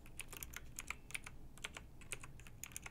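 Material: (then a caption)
Plastic. A backlit plastic mechanical keyboard with round typewriter-style keycaps is typed on by long nails. It gives a quick run of light, bright clicky taps, about sixteen across three seconds, over a quiet low hum.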